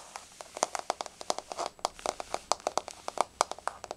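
Long nails of both hands tap rapidly on a flat, solid wood-look laminate floor with a wood-grain surface. About 29 crisp, clicky taps come in quick, uneven bursts, each a dry click centered near 700 Hz with a bright edge and no low end, dying away almost instantly.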